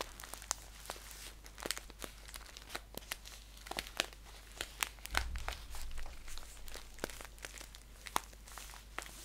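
Fingers crinkle and scratch a green paper tea pouch with a label, holding it upright and then flat. The result is a quiet, continuous run of crisp, bright crackles and sharp little ticks over a steady low hum. There is a fuller, louder stretch of handling midway through.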